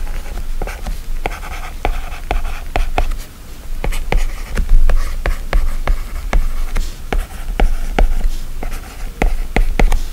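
The plastic tip of an Apple Pencil writes handwriting strokes on the glass screen of an iPad running a drawing app, producing a quick series of sharp, scratchy taps and short scratches. Each tick is brief and dry, with little ring, and sits over a steady low hum throughout.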